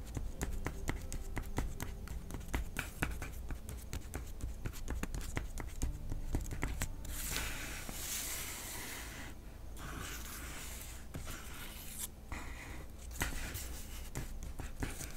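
Fingertips of both hands rub, scratch and crinkle a flat paper $50 bill lying on a light wooden tabletop, with wooden blocks sitting unused at the edge. Quick, dense scratchy ticks fill the first seven seconds over a steady low hum. Then the sound shifts to a brighter, continuous papery crinkling hiss, broken by brief lulls near 9.5 and 12 seconds.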